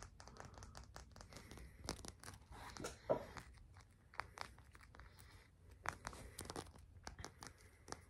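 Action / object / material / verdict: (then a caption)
tap / amethyst crystal cluster / amethyst / none. A small, solid purple amethyst crystal cluster, held in one hand, is fast-tapped and scratched with the fingertips and short nails of the other hand. The result is a quiet, rapid run of sharp, dry clicks and crisp scratching rustles with almost no ring, with one louder tap about three seconds in.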